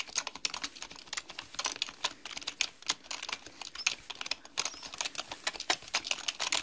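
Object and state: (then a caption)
Plastic computer keyboard. Rapid typing on a black mechanical computer keyboard with plastic keys, tapped with long manicured nails and fingertips. Quick, bright plastic clicks with almost no low end come in uneven bursts, each dying out almost instantly.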